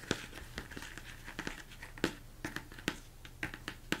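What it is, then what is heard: Plastic mixing bowl, hollow. Fingertips tap and scratch the sides and top of a large, hollow, empty plastic mixing bowl turned upside down. A steady run of sharp, dry taps carries a hollow mid-pitched knock and dies away almost instantly. A soft, bright scratching hiss fills the gaps between them.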